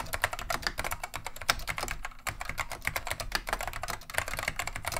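Continuous two-handed fingertip typing on a beige plastic vintage Wang 725 mechanical keyboard with Alps switches. The result is a rapid, dense stream of sharp, bright clacks with very short decay. A brief lull comes at about two seconds.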